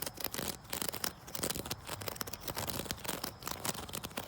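A wicker chair is scratched outdoors, building up to tapping on it. A continuous run of dry, bright scratching and crackling is punctuated by short, quick taps with almost no ring.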